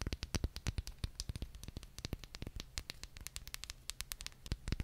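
Very long painted nails tap and scratch the outer surface of a small, hollow white ceramic cup or holder with a gold floral print, held in one hand close to the mic. The result is a quick, uneven run of sharp, dry clicks with bright ticks and no ring, over a steady low hum and faint scratchy rustle.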